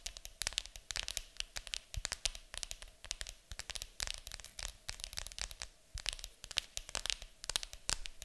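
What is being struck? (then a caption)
Cardboard board game box lid. Long acrylic nails tap and scratch fast on the lid of a large, hollow, printed cardboard board game box. Rapid, dry, bright clicks and papery scraping run in quick bursts, each tap dying away almost instantly with only a light hollow thump underneath.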